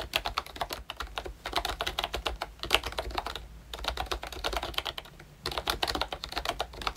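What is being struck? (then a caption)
Plastic membrane keyboard with round keycaps. Fingertips of both hands type on a full-size pink ROYCHE Disney Mickey Mouse retro keyboard, a plastic membrane keyboard with a plastic case and round plastic keycaps. Bursts of rapid, short, bright plastic key taps are separated by a few brief pauses, each tap dying away almost instantly.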